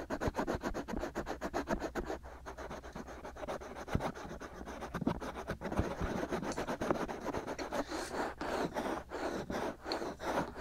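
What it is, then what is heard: Scratching on a silicone microphone ear. Short fingernails vigorously scratch the white, hollow silicone ear molds of a binaural microphone. It makes a dense, rapid run of close, dry scratching strokes over a steady low hum, keeping an even level for the whole stretch.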